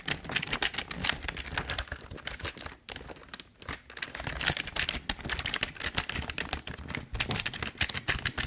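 Fingertips type on the keys of a full-size, hollow, tilted black plastic Logitech keyboard. Rapid, bright plastic clicks with a hollow low thump run steadily, easing briefly around the three-second mark before the typing picks back up.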